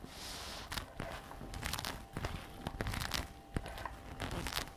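Long red nails tap and scratch the flap of a glossy black-brown patent faux leather messenger bag resting on a table. A soft, bright rustling hiss opens the clip, then sharp dry taps and crinkly scrapes come in uneven bursts with short, dull low thumps underneath. A faint steady tone hums in the background throughout.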